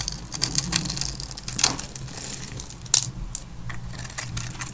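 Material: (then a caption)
Soap. A metal blade cuts and scrapes a grid into the surface of a solid, hand-sized, black-and-white striped bar of dry soap held in fingers with long white-painted nails, and small cubes crumble off. Quick, dry, bright scratching and crackling ticks run throughout, with two sharper snaps standing out near the middle, over a faint low background hum.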